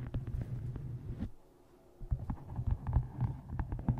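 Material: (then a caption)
Cardboard. Long nails tap rapidly on the cover of a dark hardcover book with a photo inset, which rests on a microphone while hands hold it at the edges. The taps sound as dull, muffled low thuds with almost no ring, in uneven bursts. There is a brief quiet pause in the middle before the tapping resumes.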